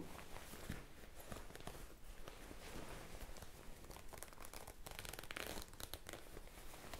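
A white, ruffled, soft fabric shirt is held close to the microphone while fingers with blue-painted nails scrunch and rub it. The result is a quiet, steady crinkling and rustling with a soft low rumble and faint bright crackles throughout.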